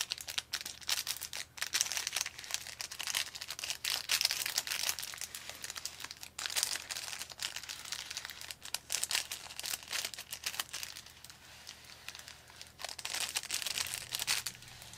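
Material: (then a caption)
Paper. Fingertips crinkle and slide along a thin, long, narrow, hollow blue and white paper chopstick wrapper sleeved on chopsticks. The result is a continuous bright, crisp crinkling and rustling with almost no low end, rising and falling in a dense stream of quick, dry crackles over the full fifteen seconds.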